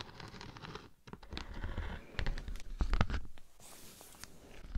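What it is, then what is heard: Beeswax honeycomb sheet. A thin, flat, solid sheet of natural beeswax with a honeycomb texture is held in the hand and scratched with long nails. The result is a quiet, dry, crackly scratching made of short, uneven bursts with a soft, low-heavy body and little ring, growing a little louder toward the middle and the end.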